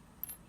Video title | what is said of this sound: My Crystal Collection! (Part 1) - Quartz, Amethyst, Citrine, and more! | I love that glassy sound of these like uncoated but polished thin points.